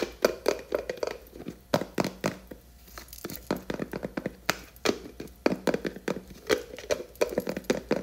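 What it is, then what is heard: Plastic jar lid tapped with nails. Long nails tap and scratch the top of the black plastic screw lid on a large blue plastic hair cream tub. The result is a quick, irregular run of short, dry clicks with a hollow mid-pitched knock. Light scraping fills the gaps between the taps.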